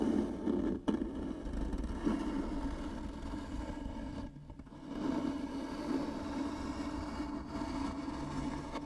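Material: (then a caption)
Wood. Long nails scratch slowly and hard down the grooved surface of a light wooden box, likely hollow, producing a steady, raspy scraping with a low, woody body around 215 Hz. The scratching runs almost continuously, with a brief drop near the first second and a longer quiet gap around four and a half seconds before it resumes at the same level.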